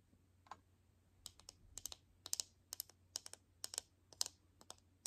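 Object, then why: Plastic toy capsule ball in film wrapper. Long nails tap a palm-sized hollow plastic toy capsule (a Mini Brands ball) in a printed teal film wrapper, held in both hands, with its contents not visible. The result is a quiet, irregular series of sharp, bright clicks and light crinkly ticks, each dying away almost instantly.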